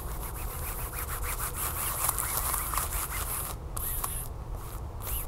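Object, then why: Sealed glossy plastic package. Long fingernails scratch and rub the glossy back side of a flat, sealed plastic tablecover package with a barcode. The result is a steady, crinkly scraping with bright, hissy highs over a low rumble, with brief pauses in the scratching near the end.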